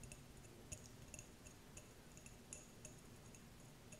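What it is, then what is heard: Empty glass jar. Long nails tap and scratch a small, clear, empty glass jar without a lid. Quiet, bright clinks and ticks ring briefly over a low, soft rumble, in an irregular series of light taps.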